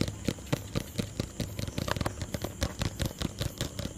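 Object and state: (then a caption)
Plastic tub. A small hollow white plastic tub held in one hand is tapped with fingertips and nails. About twenty quick, dry taps come in an uneven rhythm, each with a hollow, low-pitched knock and a bright, clicky edge that dies away almost instantly over a faint low hum.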